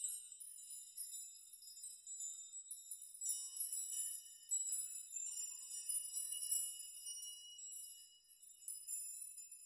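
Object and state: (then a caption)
Steel nail chime. Open hands and fingertips brush a chime of many long, hanging steel nails, making them rock and jingle against each other. The result is a quiet, continuous wash of high, bright metallic tinkling and shimmering with no low end, rising and falling in soft swells.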